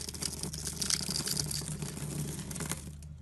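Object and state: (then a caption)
Bar soap being cut. A metal box-cutter blade scores and slices a grid into a green rectangular solid soap bar with an embossed EXXE logo, held in the hand, and small cubes crumble off. The result is a steady run of crisp, bright scraping and crunching cuts over a low, even hum, tapering off quietly at the end.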